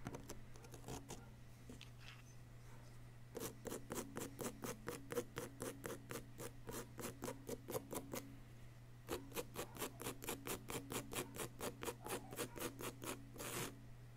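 A wooden chisel tool scrapes a solid yellow-green plaster dig-kit block held steady by one hand. After a quiet start over a steady low hum, two runs of quick, regular, bright, rasping strokes follow, separated by a short pause.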